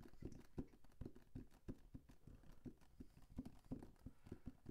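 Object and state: Cardboard box.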